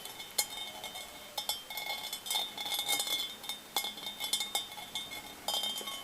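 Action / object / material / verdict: tap / cut crystal glass bowl / crystal glass / none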